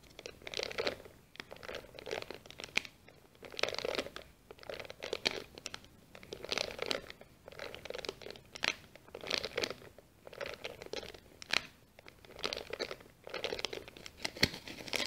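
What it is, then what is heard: Pleated kraft paper sheet. A hand-sized sheet of brown kraft paper, folded into accordion pleats and held upright in both hands, is scratched and pressed along its folded ridges by long green-painted nails. The result is quiet, dry, bright crinkling and crunching in repeated bursts, with sharp crackles and almost no low end.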